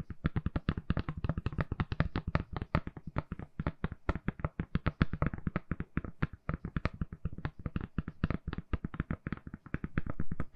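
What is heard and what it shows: Long nails tap quickly on a hand-sized, solid, lilac silicone phone case fitted on a phone. The result is a fast, uneven stream of short, soft, low thuds, each with a brief click on top, and every tap dies away almost at once.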